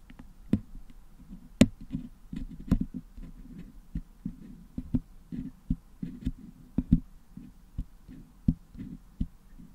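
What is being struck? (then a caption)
Metal mesh grille packed with putty, picked with a wooden toothpick. A wooden toothpick picks at the top of a Blue Yeti microphone's hollow metal mesh dome grille, which is packed with red and blue putty, cleaning the putty out. It makes soft, muffled low scraping and thudding close up, broken by sharp, bright ticks as the toothpick catches the mesh.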